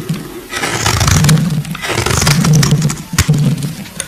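A solid, translucent purple glycerin soap bar held in the fingers is scraped with a metal blade, curling flakes off. The scraping comes in long, dense passes with a low rumbling body and bright, crackly shaving texture, swelling and easing over about four seconds.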